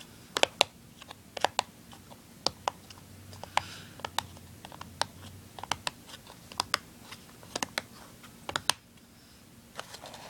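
Fingernails scratch and tap the printed side of a small, hollow, open and empty cardboard tuner package. About twenty sharp, dry clicks ring out over a faint scratchy hiss. They are bright and thin with almost no low end, and each dies away instantly.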